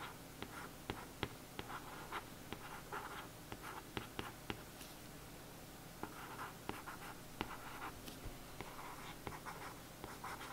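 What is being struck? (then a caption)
Glossy cardboard paperback cover. A thin paintbrush traces and scratches over the printed letters on the glossy printed cardboard cover of a watercolour paperback book lying flat on a table. Soft, dry scratching strokes come in short bursts with a mid-range hiss, punctuated by sharp, quick ticks. The sound is quiet, solid and flat, with almost no ring.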